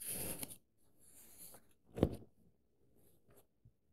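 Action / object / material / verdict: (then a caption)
scrape / paperback book with paper pages / paper / none. An index finger traces the text of an open paperback book, and fingertips pinch and rub a page corner, making soft, bright paper rustles and quiet rubbing. Midway there is a sharper, louder papery crinkle, followed by faint brushing and a tiny tick near the end.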